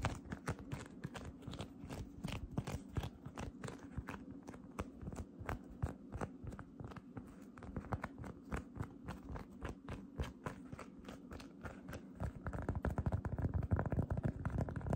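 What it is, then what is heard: Cotton candy cloud slime being squeezed. Fingertips with long red nails press into, grip and squeeze a flattened, hand-sized, solid light-blue cotton candy cloud slime with a rough, fibrous surface. The result is a rapid, uneven stream of soft, low, crackly crunching pops, about three per second. Near the end, the squeezing grows deeper and louder.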